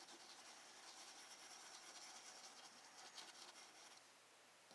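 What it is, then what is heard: Pencil shading on sketchbook paper. A woodless graphite pencil held in the fingertips shades a sphere on a thin, solid sheet of drawing paper in a spiral-bound sketchbook lying flat on a wooden desk. Repeated rubbing and scratching strokes make a quiet, steady, bright papery hiss with almost no low end, swelling slightly with each stroke and easing toward the end.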